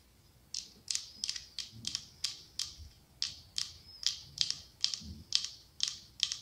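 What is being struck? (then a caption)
Glass candle holder. Long acrylic nails tap and scratch the side of a medium cylindrical glass candle holder decorated with autumn leaves, with a candle inside. A quiet, steady series of short, bright clicks and brief scrapes rings high and dies away almost instantly, with almost nothing in the low end.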